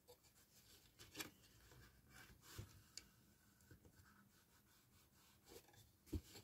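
Fingertips and nails rub and scratch along the base edge of a small, hollow, empty patterned cardstock gift box standing on a towel, creasing its fold. Soft, dry papery rubbing continues throughout, broken by five sharper scratchy scrapes with bright edges. The sound stays quiet and close, with each scrape ending almost instantly.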